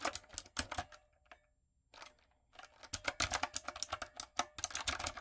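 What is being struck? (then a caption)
Plastic mechanical keyboard. Long coffin nails and fingertips type on a backlit, plastic typewriter-style mechanical keyboard with round retro plastic keycaps and a hollow body. Bright, hollow clicks and clacks come in quick bursts, then a brief near-silent pause. Denser, faster typing follows.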